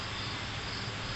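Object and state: Nothing is struck.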